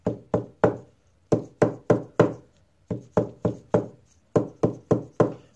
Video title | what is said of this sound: How To Find a Loose Brace Inside a Guitar | that's solid you don't really get any kind of noise